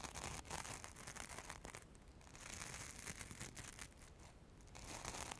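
Long nails scratch and rub along the orange glitter coating of a solid foam craft carrot held upright in both hands beside the microphone. The result is a dense, continuous, bright rasping crackle made of many quick scrapes, softening briefly around the two-second and four-and-a-half-second marks.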